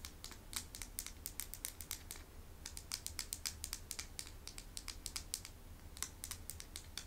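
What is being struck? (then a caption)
Small painted stones. Rapid, irregular tapping on small hand-painted medicine stones produces dozens of short, sharp, high-pitched clicks. A quiet, steady low hum sits underneath throughout.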